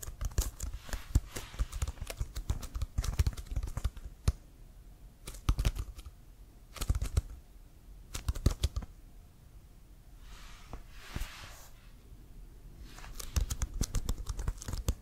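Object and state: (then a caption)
Leather American football. Fingertips tap on a hollow, inflated brown CFL Wilson leather football held in one hand. Bursts of quick, dull, low thumps die away almost instantly, separated by short pauses. Around the middle comes a softer, airy brushing sound before the tapping resumes.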